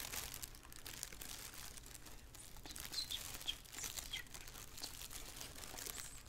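A black, thin plastic shower cap, flipped over and held in both hands above a wooden table, is scrunched and crinkled with fingers and long nails. The result is a steady, dense, bright crinkling rustle with occasional sharper high squeaks and crackles, over a faint low background hum.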